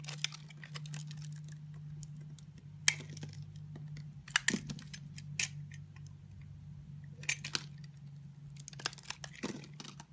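A utility blade scrapes and cuts small cubes from a solid rectangular orange and white striped soap bar held in the hand. Bright, crisp scraping and sharp cutting clicks come in bursts over a steady low hum.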